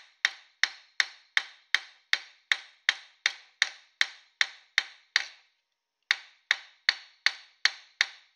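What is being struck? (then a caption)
Thin copper dish on a steel stake. A palm-sized thin copper disc, held on a metal stake in a vise and turned by hand, is struck with a metal hammer in 21 steady, bright, metallic taps with a main pitch near 1.8 kHz. Fourteen blows come at a regular pace, then a brief pause, then seven more. Each tap is sharp, with a short, quickly fading ring and no low-end thud.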